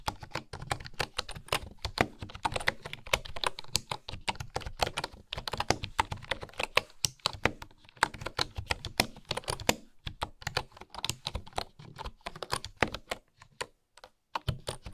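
Fingertips and nails type on a bamboo wooden keyboard, tapping the keys in quick, uneven bursts with brief pauses. Each tap is a short, dry click with a bright edge and a soft low thud, fading almost instantly.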